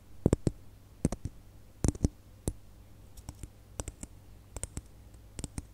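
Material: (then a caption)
Plastic. Long fingernails tap and click on a single small hollow red glitter plastic Christmas bauble held between the fingers. The result is an irregular string of short, dry clicks with crisp, bright tops and almost no ring, some landing in quick pairs, over a low, steady hum.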